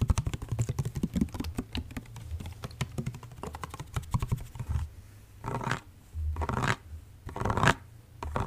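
Fingertips and nails tap and scratch the body of a plastic, orange liquid-filled body mist spray bottle held sideways close by. The first half is dense, rapid clicky tapping. The second half turns into several longer, brighter scratching strokes separated by brief pauses.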